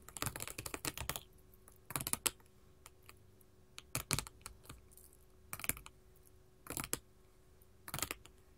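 Long gold metal filigree finger claws rapidly tap a solid, flat sheet of small colored glass mosaic tiles resting on a table. The taps come in six quick bursts separated by quiet pauses. Each burst is a run of sharp, bright clicks that stop dead with no ringing.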